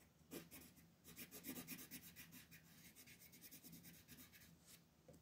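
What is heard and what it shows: A teal colored pencil rubs steadily across a thin mandala paper coloring sheet in shading strokes, with the other hand resting on the sheet. The sound is a quiet, dry, scratchy rasp that pulses in quick repeated back-and-forth strokes, with bright hiss on each pass.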